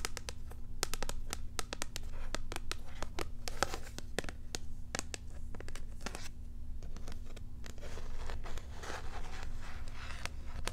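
Long nails scratch and tap on a small cardboard card with a clear plastic blister holding a cat toy, held in hand. Sharp, bright clicks and crinkly scraping sound over a steady low hum, with a denser rustling scratch near the end.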